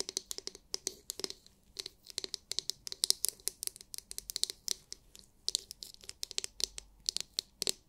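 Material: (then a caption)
Plastic. Long nails tap and scratch the domed shell of a palm-sized, oval, glittery translucent plastic scalp massage brush. The result is an irregular stream of dozens of sharp, crisp clicks and short scratchy rasps. The sound is bright and high-pitched, with almost no low end, and each tap dies away instantly.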